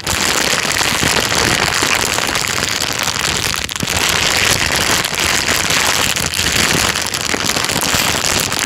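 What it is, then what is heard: Thin plastic bag being crinkled. A thin, empty, transparent plastic bag is crinkled and squeezed by hand. It makes a steady, dense crackling rustle that is bright and hissy with little low end, briefly dipping just before the four-second mark.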